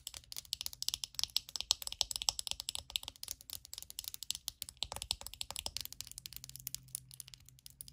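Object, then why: Plastic hairbrush. Long acrylic nails tap rapidly on the hollow back shell of a small glossy purple plastic hairbrush, then scratch across the bristles. The sound is a dense run of short, dry, bright clicks with almost no ring, fading into a softer scratchy texture near the end.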